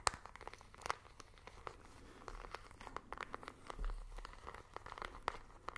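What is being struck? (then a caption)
Small plastic remote control with rubber buttons. Fingernails tap on a small plastic IR remote control with colored rubber buttons, and the buttons click under pressure. The result is a quiet, irregular series of sharp, dry clicks and taps with a bright edge and almost no ring, over a faint low rumble.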